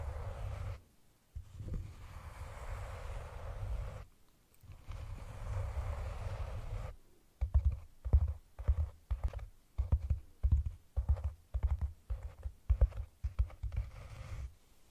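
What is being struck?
Cylindrical cork container.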